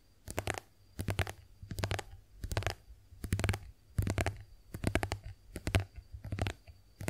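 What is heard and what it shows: A white soft plastic squeeze tube of face wash cream, hollow and partly filled, is held upright in both hands and tapped and scratched with long acrylic nails. Quick bursts of dry clicking taps and scratchy rustles come in uneven clusters, with a hollow low thump under each burst. The taps are short and snappy, with no ring.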